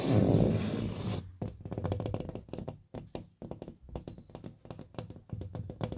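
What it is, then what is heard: Gypsum drywall panel. A purple paper-faced gypsum drywall (sheetrock) panel with chalk marks and a small dent is tapped and knocked with open-hand fingertips on its flat, solid face. It opens with about a second of dense, loud, low rumbling rustle, then gives way to an irregular run of dull, low thumps and taps, each with a short, muffled ring around 215 Hz.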